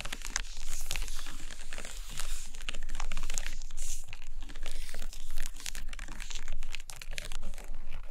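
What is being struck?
Stack of hardcover paper books.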